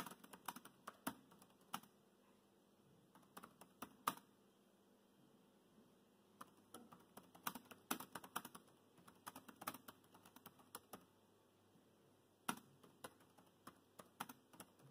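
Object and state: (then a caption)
Plastic laptop keyboard. Fingertips of both hands type on the black plastic chiclet keys of a grey laptop keyboard. Quiet, short, crisp clicks come in quick bursts, with brief lulls between runs of keystrokes. Each tap is bright and dies away almost at once.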